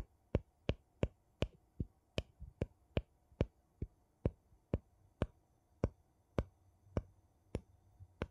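A thin, flat wooden piece held by fingertips taps and scratches the rim of a gold metal screw lid on a small, empty glass jar held sideways. About 18 sharp, dry clicks land at a steady, unhurried pace, each dying away almost instantly over a soft, low background hiss.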